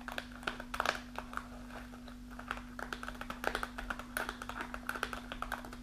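Long nails tap and scratch across a kraft paper snack pouch with a plastic window, partly full of dried fruit, lying on a table. Quick, dry crinkly taps and rustling scratches come in uneven bursts over a faint, steady low hum.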